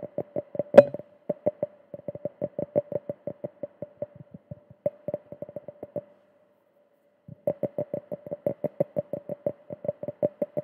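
A small, clear, empty hollow drinking glass is held in one hand close to the microphone and tapped with the fingertips and nails. Short, bright taps ring briefly at a steady pitch of about 570 Hz, with one sharper, louder click near the start. The taps stop for about a second before the rapid tapping resumes.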